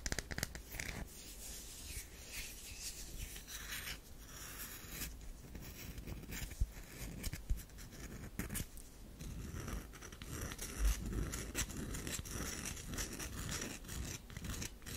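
A solid olive-brown DURU bar of soap is held in both hands while long nails scratch its scored surface. The clip is a steady stream of quiet, dry scratching and rubbing with bright, crisp textures and a few sharper clicks, over a constant low hum.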